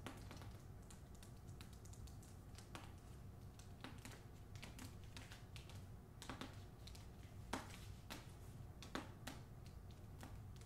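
Long acrylic nails on both hands tap and scratch the back cover of a hardcover copy of "Olga Dies Dreaming," its paper dust jacket over cardboard. Quick, dry, bright clicks come in an uneven stream over soft scratching and a steady low hum, with a few sharper taps standing out.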